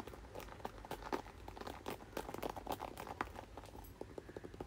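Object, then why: Plastic paddle hairbrush. Fingertips and nails tap and scratch the back and bristle side of a red plastic paddle hairbrush as it is held and turned. The result is a quiet, irregular run of short, dry clicks and crinkly scrapes with a mid-range ring around 1 kHz, over a faint low rumble.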